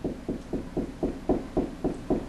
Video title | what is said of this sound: How to locate a stud in the wall | tap on the wall here it's kind of a low Hollow noise